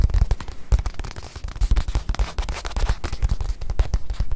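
Long nails tap and scratch the leather face of a small stuffed white leather watch pillow held in one hand. Rapid, irregular taps land as dull, low thumps with very short decay, mixed with soft scratching between them.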